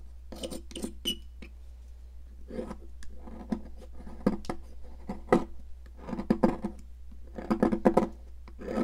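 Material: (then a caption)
Chalk. A metal palette knife rasps a solid pink, popsicle-shaped stick of sidewalk chalk on a plastic mat, leaving powder and flakes collecting. Bursts of dry, gritty scraping alternate with sharp clicks and short pauses, over a steady low hum.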